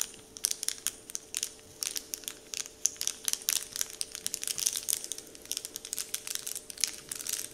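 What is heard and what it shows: Fingertips press and crinkle a large, flat, heart-shaped Dove-printed paper candy wrapper sheet resting on a wooden table. The result is a steady run of dense, bright, crackly crinkles with sharp clicks and almost no low end. A faint steady hum sits underneath.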